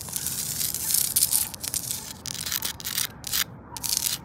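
Long acrylic nails scratch and rub across a flat, grey, pitted porous concrete paving stone lying solid on the ground. The sound is a bright, hissy, gritty scraping in repeated strokes and bursts, with almost no low end.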